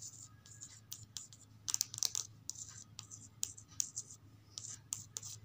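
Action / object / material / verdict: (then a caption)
tap / softcover paper book with glossy card cover / card / none. Long acrylic nails quickly tap and scratch the glossy card cover of a thin softcover children's picture book, "House for Sale" from the Oxford Reading Tree series, lying on a stack of similar books on carpet. Sharp, bright clicks mix with dry, hissy scratching strokes over a faint low hum.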